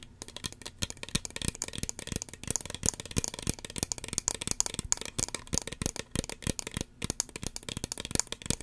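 Long fingernails tap rapidly on a small, hollow red plastic spray bottle with a cream-white pump cap, held close to the microphone. The taps are quick, dry and clicky with bright high tones, a little low thump, and no ring.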